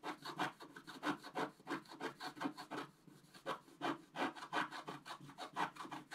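A pointed wooden stick scratches across a flat coated scratch-art sheet held in the other hand. It makes a quick, uneven series of dry rasping strokes, about three per second, centred in the mid-range with a bright, papery edge. There is a short, quieter lull midway before the strokes pick up again.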